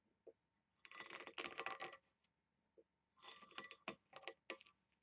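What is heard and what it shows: Long nails tap and scratch the lid of a small, hollow, oval brass box that is embossed and engraved and has a ring handle. The result is quick, bright metallic clicks and scratchy rasps in two dense bursts, with a single light tap before each burst. Each click dies away almost at once.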